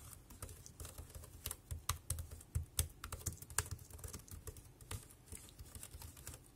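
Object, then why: Plastic wireless keyboard. Fingertips type on a compact dark grey plastic Bluetooth wireless keyboard with round keys and a hollow body, resting on a black plastic bag. A steady, uneven run of quick keystrokes gives sharp, bright clacks over a hollow, low thump. Each stroke dies away almost instantly.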